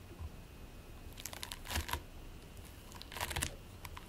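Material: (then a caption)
Polystyrene beads. Short-nailed fingertips press, squish and scratch into a flattened mound of purple and white polystyrene microbead play foam resting on a white plate. Two bursts of quiet, crackly, sticky crinkling rise over a faint low background, each made of quick bright clicks that stop almost at once.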